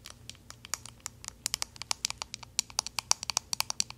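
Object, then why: Plastic hairbrush back tapped with metal-tipped nails. The back side of a pink plastic paddle hairbrush is tapped and scratched with paperclip fake nails. About 29 sharp, bright, dry clicks and scrapes come in a quick irregular patter, each dying away almost instantly with almost no low end.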